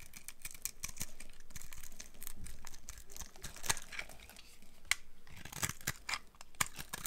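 A solid, dry brown laundry soap bar is held in one hand while a box cutter blade shaves crumbly pieces from its end. Dense scraping and carving is heard as a steady run of short, dry, crinkly scrapes with bright edges. It is broken by sharper crisp snaps as flakes break away.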